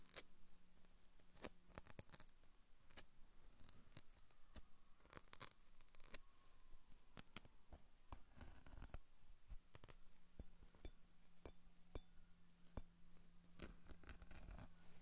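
A thin metal pick or cuticle tool is scratched and poked across the rough, fibrous surface of a dry, hollow, hand-sized natural loofah sponge held in one hand. Quiet, dry scratching is broken up by many sharp, crackly clicks and bright, high fizzing, over a faint, steady low hum.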